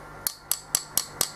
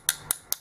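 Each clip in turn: First: Five crisp, high clicks with almost no ring: a hard crushed-stone composite blank tapped with metal. Second: Three quick, bright clicks that die at once: a metal tool tapping an acrylic blank, with a dull, hollow feel.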